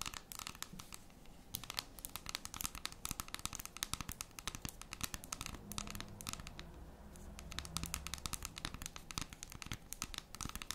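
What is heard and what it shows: Long red and metallic acrylic nails scratch and tap rapidly across the square segments of a large, unwrapped solid dark chocolate bar held flat in both hands. The result is a dense stream of dry, bright, crisp clicks and scratchy crinkles that stop instantly with no ring. A faint low hum sits underneath, rising briefly in the second half.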